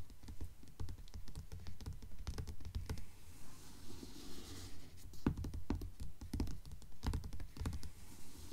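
Long nails on both hands tap and scratch the glossy paper dust jacket of a blue Mockingjay hardcover book lying flat on a table. Quick, irregular taps land as dull, low thuds, and around the middle a brief stretch of scratching adds a soft, bright hiss before the tapping picks back up.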